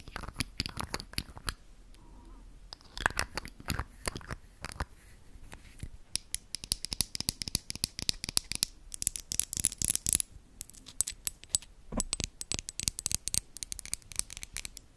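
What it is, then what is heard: Glass perfume bottle. A small rectangular glass perfume bottle with a dark cap, partly filled with liquid, is held in one hand close to the microphone and tapped with long acrylic nails. Dense bursts of quick, bright clicking and scratchy tapping come and go across the clip, with short quieter pauses and occasional faint high glassy ringing.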